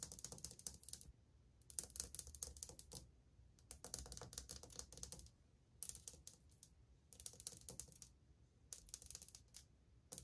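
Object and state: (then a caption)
Ceramic wall tile. Long painted fingernails of one hand tap fast on old glazed ceramic subway tiles on a wall, which are flat and solid. The result is bright, crisp clicking rattles in quick bursts, separated by short quiet pauses, with each tap dying away almost instantly.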